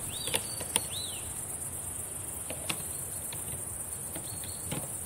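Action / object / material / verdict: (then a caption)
tap / plastic laptop keys tapped with fingernails / plastic / none. Long decorated nails tap on the plastic keys of a black laptop keyboard, giving sharp, scattered clicks with quick decay. A steady bright hiss runs underneath, with a few faint rising and falling whistle-like tones near the start.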